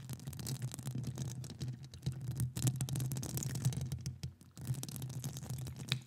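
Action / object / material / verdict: scrape / metal mesh microphone grille scratched by long nails / metal mesh / none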